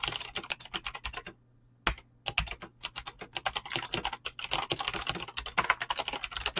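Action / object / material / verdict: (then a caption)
tap / mechanical keyboard with plastic keycaps / plastic / none. Fingertips with short painted nails type fast on a full-size mechanical keyboard with Razer green clicky switches and pink-blue PBT plastic keycaps resting on a desk. A rapid stream of sharp, bright clicks is heard, briefly pausing for about half a second before the fast typing resumes and continues steadily to the end.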